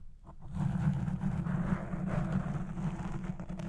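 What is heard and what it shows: Long nails scratch the top and side of a black foam windscreen on a Blue Yeti Pro microphone as it records. The scratching comes through as a dense, muffled low rumble with a steady hum-like tone and almost no high content, swelling in after a quiet start and continuing without a clear break.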